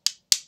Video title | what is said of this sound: Cotton Ball vs Rocks Chapel | Rocks, on the other hand, are hard and rough, and you can hear them when you tap on the table